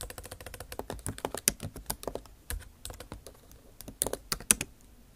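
The tips of long acrylic nails type on a MacBook Pro backlit keyboard with bare plastic keys set in an aluminum body. The result is a quick, uneven stream of bright, clicky taps that stop dead with no ring, with a few louder strikes standing out among softer ones.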